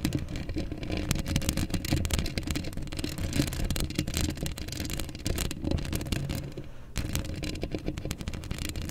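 Long acrylic nails scratch the hollow steel mesh grille of a black microphone with both hands, producing a dense, continuous rasping scratch. The sound is close and heavy in low rumble with faint bright crackle on top, easing briefly just before the seven-second mark before resuming.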